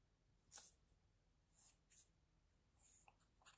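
An HB wooden pencil held in the fingers shades on a thin, flat sheet of white drawing paper near the nose and mouth of a drawing. The graphite gives quiet, bright, scratchy strokes in short separate bursts, with faint low rumble in between.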